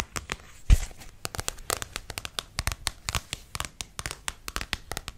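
Long painted nails tap and scratch the front and back glossy paper covers of a medium-sized solid paperback book about crystals held in hand. About 28 short, dry clicks with bright edges and a soft low thump come in a quick, uneven series, with faint scratchy crinkling between them and one louder knock near the start.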